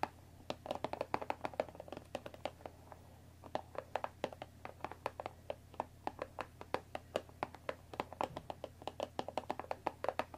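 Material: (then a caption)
Cardboard. Long dark nails tap and scratch the top edge of a closed Earl Grey tea box made of thin printed cardboard, about 20 cm long and likely full of tea bags, resting on a wooden table. Dozens of quick, quiet, dry taps with a hollow mid-pitched knock die away almost instantly, mixed with soft scratching over a faint steady low hum.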